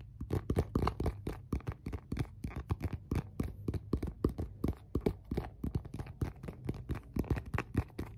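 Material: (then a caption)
Plastic. An empty, clear transparent plastic phone case with a MagSafe ring is held in both hands and tapped with fingertips and nails. The result is a rapid, steady series of short, dull clicks and taps with a low, hollow body and almost no ring.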